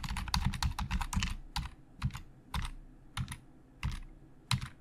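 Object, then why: Plastic computer keyboard. Fast fingertip typing with both hands on a hollow black plastic Logitech computer keyboard. A dense burst of quick clicks gives way to sparser single keystrokes, each a short dull low thud with a bright plastic tick that dies out almost at once.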